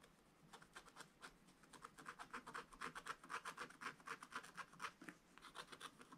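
A wooden stylus scratches near the bottom of a black scratch-art card bound in a spiral book. Short, bright, dry scraping strokes repeat about four times per second, growing louder and denser through the middle. They ease off briefly near the end, then resume more faintly.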